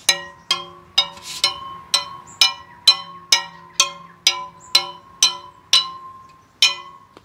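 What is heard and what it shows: A plastic pen taps the carbon spokes on the rotor side of a Superteam all-carbon rear wheel 14 times, each tap a bright, short, high-pitched ping over a faint steady tone near 1 kHz. The pings sound closely matched, showing the spokes are very good, with even tension.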